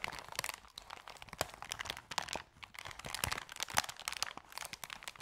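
Hands hold and scrunch the edges of a thin, empty, opened and crumpled white paper bag, making dense, crackling crinkles. Bright, papery snaps rise above a steady rustle, with almost no low end. The sound dips briefly at two points before the crinkling builds again.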